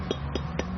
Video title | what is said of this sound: travelogue TRAVELOGUE 03/19/2017 MALAYSIA | 它 声 音 是 很 硬 啊， 听 到 吗？ 硬。 硬。 OK。 就 是 说 不 熟 啊